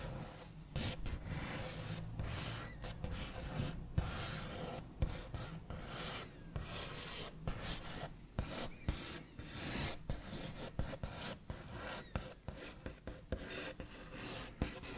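The backs of fingernails trace and scrape along the smooth white-painted top of a large, solid wooden table. The result is a continuous dry, scratchy rasp with low, woody body, broken by short, sharp taps and brighter scrapes.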